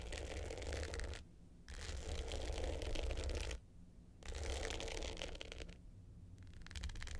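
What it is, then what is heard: Glitter hard-case clutch scratched with nails. Long pointed nails scratch the dark blue glitter top of a small rectangular hollow hard-case clutch with a gold metal frame, lying flat. The result is dense, gritty rasping in bursts, broken by short quiet pauses, with a strong low-end thump and rumble underneath.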